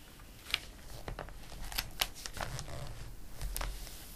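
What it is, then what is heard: Glossy paper catalog, pages rubbed and turned. A flat palm and fingertips rub the pages of an open glossy paper catalog, and a page is turned. Soft, papery swishes and brushing are broken by sharp, bright crackles and snaps as the page moves.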